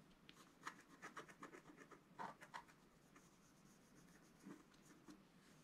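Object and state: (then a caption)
Wax-coated scratch-art paper being scratched. A wooden stylus scratches and rubs across a flat wax-coated scratch-art paper sheet near the figure's head, giving soft, dry scraping strokes. A burst of short, quick scratches comes in the first half, then quieter rubbing with a few isolated strokes near the end. The strokes are close-up and faint, with a mid-range bite and a thin bright edge.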